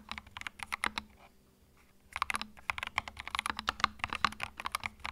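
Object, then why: Mechanical keyboard with plastic keycaps. Fingertips type continuously on a compact white mechanical keyboard with plastic keycaps, producing rapid, sharp, bright clacks with almost no ring. A brief pause near the one-second mark breaks the flow before the quick bursts of keystrokes resume and carry on to the end.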